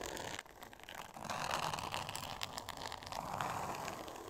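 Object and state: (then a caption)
Glitter paper covered board. Long nails scratch and tap across a flat, solid, thin pink board covered in glitter-textured paper. The result is a dense, crackly scraping centered in the midrange with bright, gritty edges and scattered sharp taps. The sound dips quieter briefly near the start, then grows steadier and louder.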